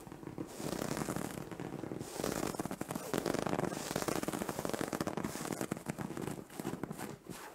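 Long orange nails scratch into a soft, padded white fabric bed cover. A dense, continuous crackling rasp fills the clip, swelling and easing in waves with only brief dips between strokes.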